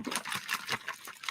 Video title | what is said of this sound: ArtStream! 6-8 Visual Musical Scores with Kathie Hsieh, Lesson 1 | shake it for that water sloshing sound